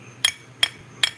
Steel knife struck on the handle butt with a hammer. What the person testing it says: Full tang. You can hear it right in the bottom when I hit it with a hammer.